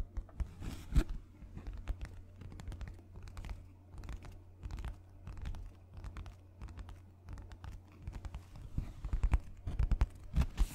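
A sheet of thin white paper or card held close to the mic is rubbed and scratched with fingertips and nails. The result is a dense run of quick, dry scratching and crinkling sounds with short bright edges over a steady low hum. Louder scrapes stand out near the start and toward the end.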